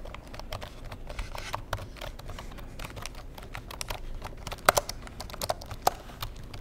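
Fingertips tap and type on the keys of a black plastic computer keyboard, producing a steady run of quick, soft, dry clicks over a low background hum. A few louder, sharper clacks stand out toward the end, and each tap stops at once with no ring.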